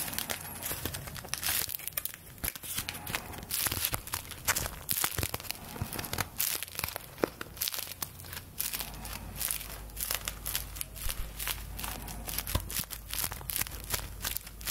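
Thin paper play-money bills held in both hands are crinkled and flexed with fingertips and long nails. Dense, bright crinkling and crackling runs continuously, with a low steady hum underneath.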